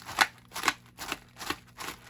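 A suspected fake, resealed cardboard Pokémon 1st Edition Jungle booster box is shaken hard, giving five quick, bright papery rattles of loose cards sliding inside. A genuine sealed box should not rattle like this, so the sound is a warning sign of resealing.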